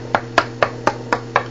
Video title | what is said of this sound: Review of Tour Spoiler WAVE shaft after usage. | now it sounds more firm